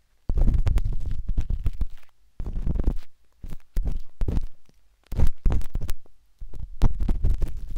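A metal-tipped dot stick with a wooden handle, held in the fingertips, scratches inside the soft, hollow canal of a pinkish-white silicone binaural microphone ear. Close, muffled scraping and rumbling comes in several bursts, almost entirely low in pitch, with quick tapping clicks and brief silent gaps between strokes.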